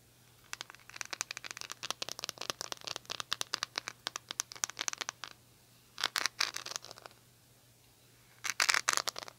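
Long nails scratch over the rhinestone-covered plastic back of an oval hair brush with a silver metal-look handle. The result is rapid, bright, crisp scratching clicks in three bursts: a long run over the first five seconds, a short cluster around six seconds, and a final flurry near the end. A faint steady low hum sits underneath throughout.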